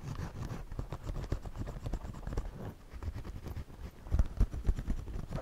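A pencil draws and scratches across the front brim of a white wide-brim woven straw floppy hat worn on the head, while the other hand steadies the brim. The sound is a dense, irregular run of dry, low scratchy taps and rustles with almost no ring, building to a few heavier thumps near the end.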